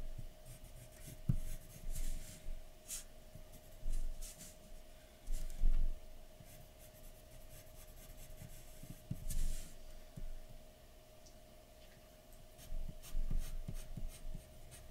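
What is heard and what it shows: A graphite pencil held in the fingers shades a large, flat white sheet of paper lying on a dark table. Its tip scratches and rubs across the paper in short, irregular strokes, each a soft, bright, papery hiss. A faint steady hum runs underneath in the quiet gaps between strokes.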